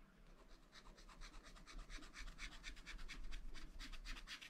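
A wooden stylus scratches rapid strokes across a black-coated sheet on a scratch-art paper pad. Quick, unevenly spaced bright rasping bursts repeat throughout, growing slightly louder over a faint low background rumble.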